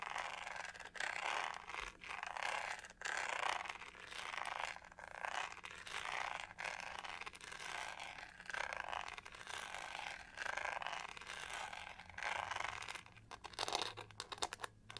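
Long nails scratch and tap on a hollow plastic hair brush with a pink pyramid-textured back. Repeated bursts of dry, bright scraping come in short strokes, broken up near the end by a flurry of quick, crisp taps.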